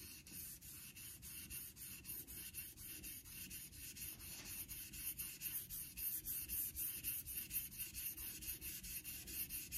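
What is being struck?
Steel straight razor on a synthetic whetstone.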